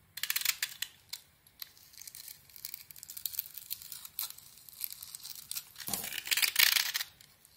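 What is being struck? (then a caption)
Bar soap. A utility knife blade scrapes and carves a solid, rectangular, hand-sized bar of soap with a red glitter coating, exposing its white core. Dry, bright, crackly rasping strokes come in irregular bursts, mostly high in pitch with almost no low end. A louder, denser scrape swells near the end before fading.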